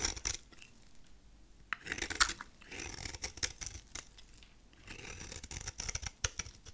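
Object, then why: Soap bar. A solid, rectangular, dry dark purple soap bar is held in the hand while its face is shaved with a utility knife blade. The result is soft, crisp scraping and cutting strokes with bright, dry crackle and very little low end. Quiet gaps separate the bursts of shaving.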